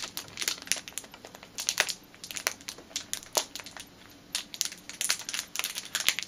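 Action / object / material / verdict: scrape / clear plastic bag with a rubber band inside / plastic / none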